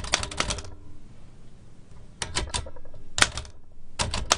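Fingertips rapidly tap the round keys of a large black metal L.C. Smith & Corona typewriter with a hollow mechanical body and paper loaded. Four bursts of quick, sharp clacks with a bright metallic snap and low thumps from the body are separated by quiet gaps.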